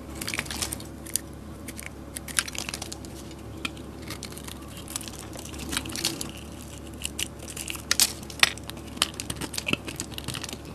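A solid white soap bar held in the hand is shaved and cut into curls and cubes with a metal utility blade. A dense run of short, crisp, bright scraping and crunching clicks plays over a faint low steady hum, with the sharpest cuts clustering near the end.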